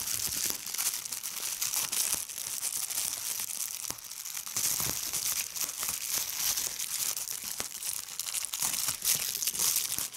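Clear plastic bubble wrap is bunched in one hand while fingertips with long red nails squeeze, pop and crumple it. The result is a steady, bright crinkling texture dotted with many sharp pops. It has almost no low end, and each snap dies away quickly.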